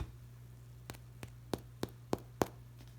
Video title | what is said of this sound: UBC Cinnamon Buns - part 2 of 2 | that means they are cooked through